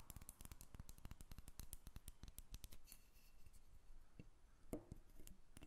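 A solid carved wooden dolphin figurine, about hand-length, is held above a table while long red nails tap and scratch its surface. The result is a quick run of sharp, dry taps that die away almost at once, with brief scratching between them and a few louder taps toward the end.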